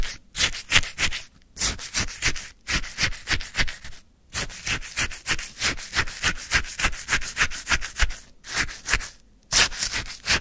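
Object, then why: Icy lemon sherbet in a paper cup, worked with a wooden stick. A wooden stick stabs and stirs icy frozen lemon sherbet in a white paper cup. It makes a quick run of bright, gritty crunching and scraping bursts, broken by a few short pauses.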